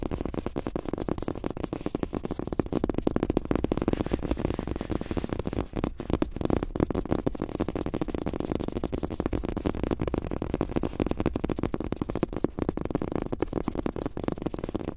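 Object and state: Fabric-top rubber mouse pad.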